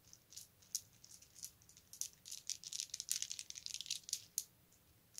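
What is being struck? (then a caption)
Plastic bead necklace. A colorful strand of round plastic beads is handled and dropped into the palm with the fingertips, so the beads rattle against each other. A quick, uneven run of bright, dry clicks sits almost entirely in the high treble, with no low end and almost no ring after each tick.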